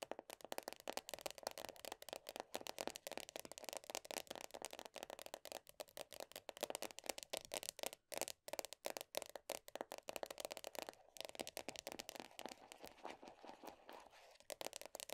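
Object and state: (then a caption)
Plastic body butter tub lid. Long nails rapidly tap and scratch the printed top of the black lid on a medium round plastic body butter tub. The result is a dense, continuous stream of quick, dry, crackling clicks and scrapes with a bright edge and a plasticky mid tone. There is no low end, and each hit dies away almost instantly.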